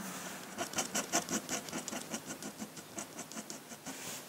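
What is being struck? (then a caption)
Paper sheet and metal pen nib. A metal dip-pen nib scratches across a large, flat sheet of white drawing paper in quick hatching strokes. About 17 short, bright, scratchy strokes follow one another at a fairly steady, rapid pace, each with a dry, papery rasp and almost no low end. The strokes come through as quiet, crisp scratching.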